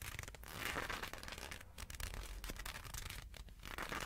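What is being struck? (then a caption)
Leather gloves. A pair of black leather gloves worn on both hands is flexed and crinkled in the air on either side of a microphone without touching it, so the leather creases rub against themselves. The result is a steady, close stream of soft crinkling and rubbing with bright, crackly texture over a low rumble.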